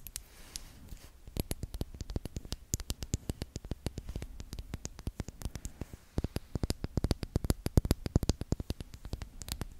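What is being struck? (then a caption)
Small glass perfume bottle. Long acrylic nails tap and scratch a small, pink-tinted glass perfume bottle, partly filled and held near the mic. Rapid, irregular sharp clicks dry out at once over a soft scratchy hiss, each tap bright at the top with a dull low thump underneath.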